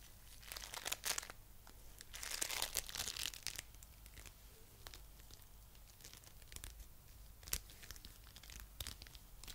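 A coral-pink lump of foam bead clay held in the hands is squished, pressed and pulled with the fingertips. It gives bright, crisp crackling and crinkling with sharp little pops, rising into denser bursts of crackle before settling back to softer scattered snaps over a faint low hum.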